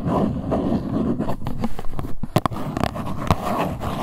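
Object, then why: Small cardboard box scratched and tapped with fingernails. A small printed cardboard box of LuLuLun Cleansing Balm, held in both hands, is scratched and tapped on its top and sides with long white nails. Steady low scratching rustle runs throughout, with several sharper taps standing out near the middle and end.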